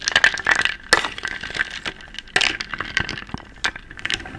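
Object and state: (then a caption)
Wooden bowl of wooden beads. Small round wooden beads in a medium wooden bowl, held in one hand, are stirred and scooped with a wooden spoon, so they clatter against each other and the bowl. The result is a dense run of quick, dry, bright clicks and rattles with almost no low end and a faint ringing tone near 1.8 kHz, with a few louder bursts where the spoon scoops.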